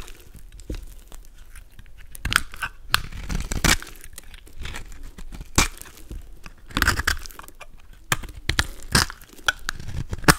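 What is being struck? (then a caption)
Bar of soap cut with a knife blade. A golden utility knife blade scrapes chunks and flakes off a solid, palm-sized pink soap bar, scored with lines and held in the hand. Dry, crisp crunching and tearing scrapes come in irregular bursts, with brief bright crackles over a low, soft rustle between cuts.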